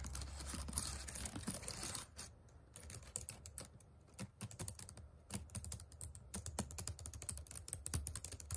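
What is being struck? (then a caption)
Plastic laptop keyboard keys. Fingertips and nails rapidly type on the plastic chiclet keys of a white HP laptop. The first two seconds are a dense, bright, scratchy patter. After that come quick, crisp clicks with short quiet gaps, each tap dying away instantly over a low thudding base.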